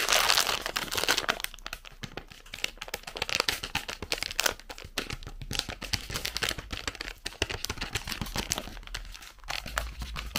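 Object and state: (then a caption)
Plastic snack bag. A full red plastic zefir bag is crinkled in the fingers and possibly torn open. A loud burst of crackling at the start gives way to dense, continuous bright crinkling and crunching for the rest of the clip.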